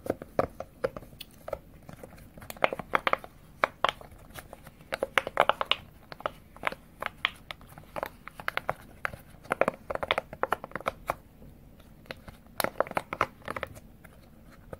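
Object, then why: Silicone push-pop fidget toy. Fingers press and pop the hollow bubbles of a thin, square rainbow silicone push-pop fidget toy held in both hands, and squeeze the toy. Dozens of short, dry pops and soft crinkly squishes come in irregular clusters, each dying away almost instantly, with a mid-range tone around 700 Hz over a quiet background.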